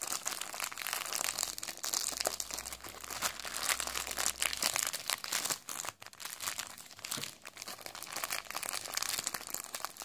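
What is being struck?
Snack cake in a thin plastic wrapper.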